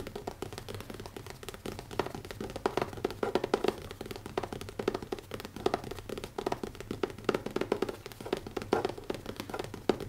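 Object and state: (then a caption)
Leather-covered hardcover notebook. Fingertips tap quickly on the cover of a small, closed black leather-covered hardcover notebook with an elastic band, resting on a wooden table. The result is a dense, continuous stream of short, dry, muted taps with a low-mid knocking tone and very little ring.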